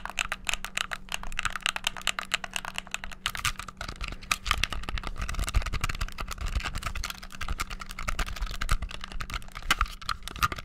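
A white, hollow plastic gamepad is clicked rapidly with thumbs and fingertips, producing a dense stream of sharp, bright button clicks. A steady low hum sits underneath, and each click dies away almost instantly.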